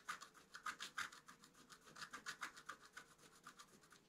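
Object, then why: Black-coated scratch-art card and wooden stylus. A wooden stylus scratches leaf details into a flat, black-coated scratch-art card. It makes a quiet run of 23 short, dry, raspy strokes with a bright hiss centered near 1.6 kHz and almost no low end, each stroke stopping quickly.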